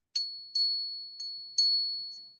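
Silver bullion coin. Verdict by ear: Real.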